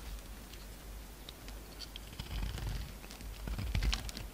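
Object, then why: Soap bar cut with a knife. A utility knife repeatedly cuts and scrapes chips off a solid pink soap bar held in the fingers. Soft, dry scraping and crisp little ticks sit over a low, steady rumble, with the cuts growing louder and more frequent toward the end.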